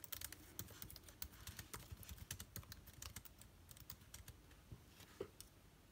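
Fingertips of both hands type quickly on the plastic keys of a backlit MacBook Air keyboard. A steady stream of quiet, short taps is heard, each with a bright click over a soft low thump that dies away almost at once.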